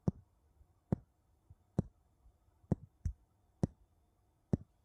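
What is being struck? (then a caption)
Two wooden bowls. Two wooden bowls are tapped against each other in seven dull, hollow knocks. Each knock is short and low-pitched, with a quick decay and a few faint softer taps between them.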